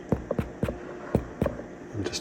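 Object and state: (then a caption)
Baked-through bread loaf (hollow). A freshly baked supermarket-style white loaf, just out of the oven after 40 minutes at 180°C, is tapped about eight times, giving short, dull, low thuds that die away almost at once. The hollow sound shows the loaf is baked through and done.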